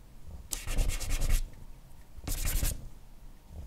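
A compressed charcoal block held in the hand is rubbed broadly over a flat white drawing paper sheet to shade hair. Two bursts of quick back-and-forth strokes make a dry, bright, papery rub, with a quiet pause between them.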